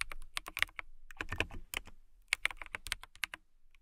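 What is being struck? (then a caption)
Clear acrylic mechanical keyboard. A transparent acrylic mechanical keyboard with clear plastic keycaps is typed on with long nails and fingertips. It makes a fast run of sharp, bright clicks and clacks centered around 2.2 kHz, each dying almost instantly, with a slightly denser burst of softer taps in the middle.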